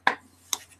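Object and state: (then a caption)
Hollow 3D-printed plastic pistol model. Three short taps on a 3D-printed plastic pistol model, a hollow plastic shell with only strands of infill between its outer walls. Each tap is a brief, dry, light click with almost no ring, sounding hollow.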